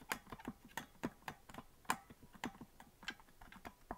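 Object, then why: Plastic melodica keys. Fingers tap the plastic keys of a hollow green plastic melodica that is not being blown, producing a quick run of light, dry clicks. Each click is short and crisp with little ring, and they fall unevenly across the clip, some louder than others.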